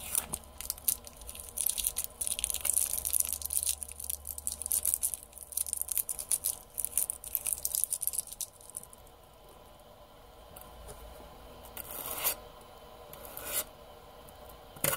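Fingertips and nails rub and scratch the printed lid and sides of a small round metal tin, its lid closed, held on a table. Dense, bright, crackly scratching fills the first nine seconds over a faint low hum. It then drops to a quiet hiss broken by a few short, bright scrapes near the end.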